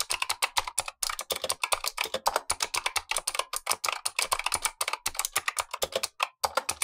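Blue-gloved fingertips type steadily on a Razer Huntsman V2, a full-size black plastic keyboard with clicky optical switches, the lower of two keyboards while the upper one sits untouched. Around 45 quick, sharp keystrokes sound in a continuous run, each a crisp, bright click centred near 1 kHz with almost no low end. Every click dies away almost instantly, with only a few brief pauses between bursts.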